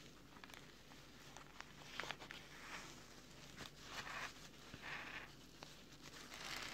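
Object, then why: Nylon mesh fabric pouch lining. Fingertips of both hands rub and scratch across the orange nylon mesh pockets and fabric strips of an opened camera filter wallet lying flat on a table. The result is a quiet, bright, crinkly scratching with brief sharp ticks and swells of friction noise throughout.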